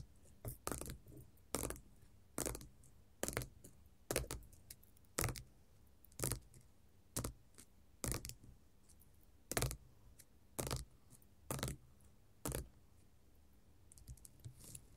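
Long gold metal finger-jewelry nail caps tap and scratch a flat, solid silver-grey glitter faux leather sheet. Sharp, bright clicks arrive at an uneven pace, some with short scratchy crackles trailing after them. A faint low hum sits underneath throughout.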